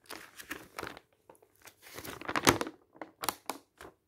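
Fingertips lift and flip the thin coated pages of a glossy paper travel brochure lying open flat on a table. The pages give off a series of short, crisp crinkling bursts with bright rustle, separated by brief quiet gaps, and the loudest flurry of crinkles comes in the middle of the clip.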